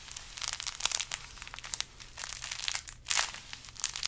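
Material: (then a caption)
Burlap. A large carrot-shaped decoration wrapped in burlap is squeezed and scratched with fingers. Quiet, dry, bright crinkling and scratchy rustles come in quick irregular bursts, with a slightly louder crunchy squeeze near the end, and each sound stops almost instantly.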